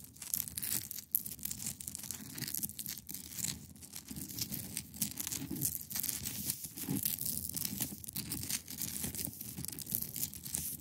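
Long pointed nails scratch across the top of a large, solid, clear ice block resting on a fabric surface. The result is a steady run of bright, gritty scraping and crackling strokes over a softer low rumble, with no ring after each stroke.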